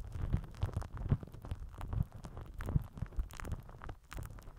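A microphone head wrapped in crinkled purple plastic film is rubbed and pressed with the end of a plastic glue stick. Close, irregular crinkling and rustling mixes with soft low thumps and rumbling, with brief brighter crackles throughout.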